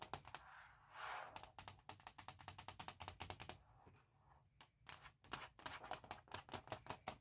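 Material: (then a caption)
Hard plastic. Long nails tap rapidly across a thin, hollow, forest-print hard plastic shell fitted on a MacBook Pro laptop, producing fast, bright, dry clicks with a hollow plastic tone. Short stretches of softer, scratchy rustling break up the bursts of tapping.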